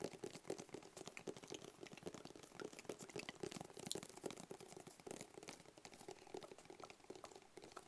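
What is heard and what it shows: Fingertips and nails tap and scratch on a medium, hollow, black rigid cardboard box with a white barcode sticker. A quiet, continuous stream of quick, crisp taps with a hollow mid-low resonance is mixed with bright, dry scratching clicks. Each sound dies away almost instantly.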